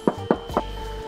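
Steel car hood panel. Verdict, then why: Undamped. Three taps on an untreated spot of the steel hood panel of a new Kia Carnival 2.2 diesel, a patch with no sound-deadening pad, checked against the treated area after hood soundproofing. Each tap gives a short, hollow knock centered around 220 Hz that dies away almost instantly. A faint steady hum sits underneath.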